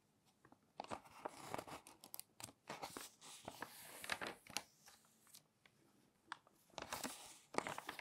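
Fingertips turn and smooth the pages of a thick, open glossy paper magazine. Crisp, bright crinkling and papery swishes come in quick, irregular bursts, separated by short quiet gaps, with almost no low end.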